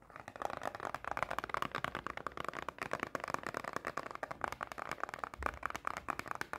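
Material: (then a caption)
Cardboard. Long painted nails tap rapidly on a small, closed cardboard Pocky snack box in a fast, typing-like rhythm. Each tap is a dry, short click centered around 1 kHz and stops at once without ringing.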